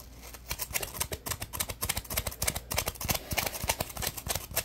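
A dry yellow-orange polymer foam sponge is rubbed and scratched with fingertips and short nails. The result is a quick, irregular series of short, bright rasping strokes with a soft low thump under each.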